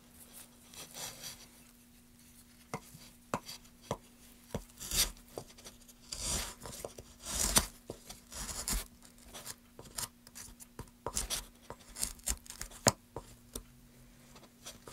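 A metal gouge with a wooden handle cuts and scrapes shavings off a solid, light wooden board held in gloved hands. Sharp, dry clicks and bright, rasping scrapes come in short bursts over a faint steady low hum.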